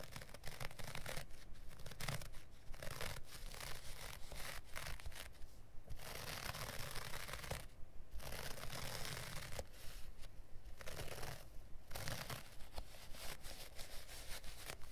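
Fingernails scratch and rub across the pile of a small offcut of dark looped-pile carpet resting on a cutting mat. The result is a steady, quiet run of dry, bristly rasping strokes with a low rumble underneath, broken by brief pauses near 6, 8 and 11.5 seconds.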